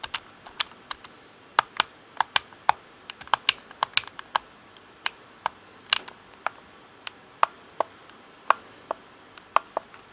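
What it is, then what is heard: Plastic game controller. Fingertips tap the face buttons and shell of a hollow black plastic Xbox controller, making 26 sharp, dry plastic clicks at an irregular pace over about ten seconds. The taps are bright and snappy with no low-end thump, and each one dies away instantly without ringing.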